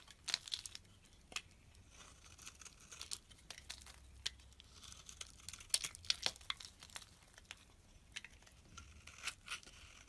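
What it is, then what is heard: Bar of soap being shaved. A solid pale pink oval soap bar held in the palm is shaved with a utility knife blade, curling off into white flakes. Quiet, dry, bright scraping and crinkling strokes come in quick irregular bursts over a faint low hum.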